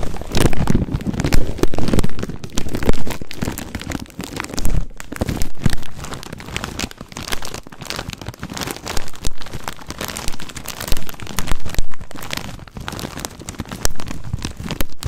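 A full 300 g plastic bag of corn rings is squeezed and crinkled with both hands close to the mic. It makes dense, continuous crinkling and crackling with a heavy low-end rumble, rising and falling in loudness throughout.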